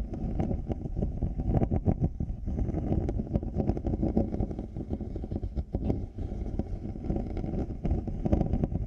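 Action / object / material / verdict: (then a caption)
scrape / plastic and faux-leather headphone earcups / plastic, faux leather / none. Fingertips and nails scratch both earcups of black over-ear headphones, with faux-leather cushions and a plastic shell, fitted on a 3Dio microphone. The result is a dense, continuous, muffled scraping and rubbing, heavy in low rumble and nearly without bright content, with frequent short rough bursts throughout.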